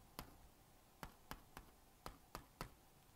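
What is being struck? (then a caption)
Plastic magnetic drawing board with stylus. A plastic magnetic stylus scratches across the honeycomb screen of a small blue-and-pink plastic magnetic drawing board while drawing a cat. Seven quiet, sharp clicking strokes land at uneven intervals, each a short bright tick with a tone around 1.2 kHz that dies away almost instantly over a faint hiss.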